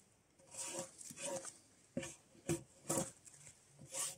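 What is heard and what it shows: Gloved hands pull a draw knife along a solid debarked spruce softwood log resting on a sawbuck, scraping its surface. Each pull makes a short, bright, hissing scrape with a faint mid-pitched tone, separated by brief pauses.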